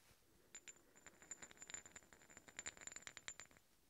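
Two large solid steel threaded hex bolts are worked against each other, the threads of one scraped and tapped along the other. The result is a quick, uneven run of sharp, bright metallic clicks and rasps with a thin high ringing tone over them, each tick dying away almost at once.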